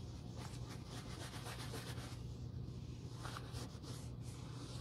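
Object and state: Leather boot being wiped.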